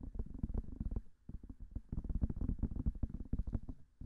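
Long nails tap fast on both white silicone ears of a binaural microphone, making soft, dull, low thuds in rapid bursts with almost no high end. The taps come quickly, pause briefly near one second, then resume in a dense run.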